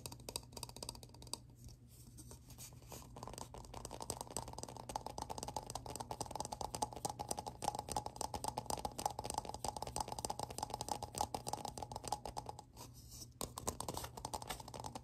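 Fingertips and short nails tap and scratch the smooth face and ridged rim of a small, hollow, round black plastic lid held close. A dense run of quick, dry clicks and scrapes with a hollow tone around 820 Hz and almost no ring continues steadily throughout, over a faint low hum.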